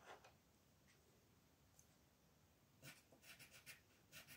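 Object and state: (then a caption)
Colored pencil shading on a paper page. A green wooden colored pencil rubs and shades the leaves on a flat white paper coloring page lying on a table, while the other hand holds the sheet. Two soft, bright scratchy strokes come first, then a quiet pause with faint hiss, then a quick run of louder, crisp scraping strokes toward the end.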